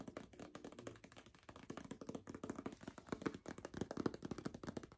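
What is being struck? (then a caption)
Paper envelope tapped with fingernails. Long acrylic nails tap rapidly on a single white paper envelope with a zigzag border, held close. The result is a quick, steady stream of dry, papery clicks and soft taps that stop almost instantly, with a low-mid body and little high sparkle.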